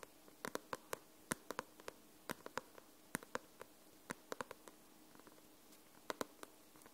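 Long nails tap and scratch the glossy paper cover of a paperback book, making around two dozen sharp, dry clicks at an uneven pace. Each tap is very short and bright with no ring, and soft scratching fills the quiet gaps between them.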